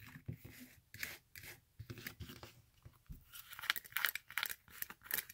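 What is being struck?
Glitter-covered fabric high-heel sandal.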